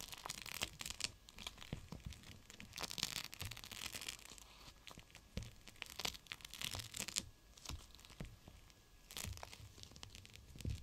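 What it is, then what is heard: Gel bead pack in plastic, crinkled. A GLOWY gel bead cold/hot pack in clear plastic is squeezed and crinkled by the fingers. Dense, bright plastic crackles and tearing-like crinkles come in bursts, with soft low thumps underneath and short pauses between squeezes.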